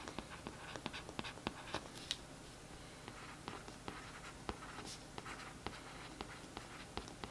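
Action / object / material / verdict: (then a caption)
scrape / glossy cardboard paperback cover scratched with a brush tip / cardboard / none. The tip of a paintbrush scratches over the printed text on the back of a glossy cardboard paperback book cover lying flat. The result is a quiet, steady run of short, dry, bright scratchy strokes over soft background hiss.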